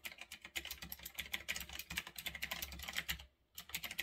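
Fingertips type fast on a retro typewriter-style mechanical keyboard with round backlit plastic keycaps, resting on a desk. A rapid, steady stream of short, bright, clicky keystrokes is heard, with a brief pause just before the typing resumes near the end.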